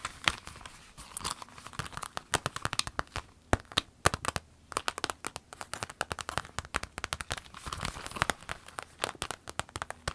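Long nails scratch an empty, small clear orange vinyl zip pencil case while hands crinkle and squeeze it. The result is a dense stream of crisp, bright crackling and sharp tapping clicks with brief quieter gaps, all dry with no ring.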